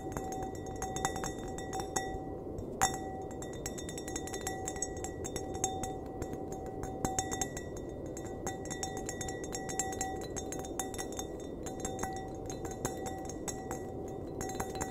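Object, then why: Glass wine glass. Fingernails tap the rim and bowl of an empty, hollow, clear glass wine glass held by the stem. The result is a long run of light, quick clinks, each carrying a short ringing tone around 760 Hz with bright overtones, heard over a steady low hiss.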